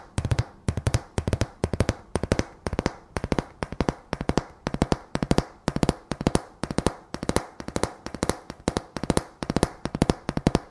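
A decorative sign made of thin, solid painted wooden slats is held in the hand and tapped and scratched with long fingernails. Quick clusters of dry, sharp clicks with a low wooden thump repeat steadily throughout, each tap dying away almost instantly.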